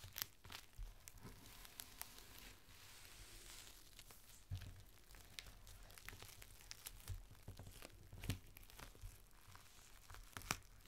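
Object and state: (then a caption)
Clear plastic rain cover. A thin strip of a clear plastic rain cover, folded into a small packet, is pressed and crinkled by fingertips. The result is a steady, quiet crinkling and crackling, with sharp, bright snaps spiking out now and then over a low, soft rumble.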